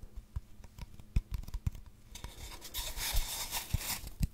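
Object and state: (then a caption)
Cardboard tube being scratched and rubbed. A long, hollow brown cardboard tube, first upright and then held horizontally, is rubbed and scratched with fingers and nails. Soft, low, hollow thumps and light scratches come first, then from about halfway a steady, bright, rasping scratch builds. Short dull knocks continue through to the end.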